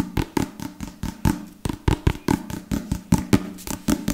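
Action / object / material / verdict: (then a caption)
tap / leather-covered book / leather / none. A solid book with a dark leather or leatherette cover, held in one hand, is tapped and scratched quickly with fingertips and nails in a fast, uneven run of about nineteen taps. Each tap is a short, dull, low thud that dies away almost at once, with a faint scratchy rustle between them.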